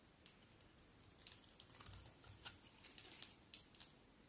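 A solid white oval bar of soap is shaved with a box cutter blade, and the curls pile up. The quiet, bright, crisp scraping comes as a run of irregular short ticks and rasps over a faint low hiss, with a few soft low thumps in the middle.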